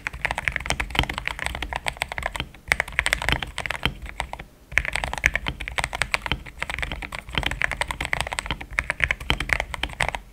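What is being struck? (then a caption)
Mechanical keyboard with thick plastic keycaps. Fast fingertip typing on a compact pink-cased mechanical keyboard with thick cream XDA plastic keycaps, solidly built. A dense stream of short, bright clacks with a warm low thump carries on steadily, with brief pauses near 2.6 and 4.5 seconds.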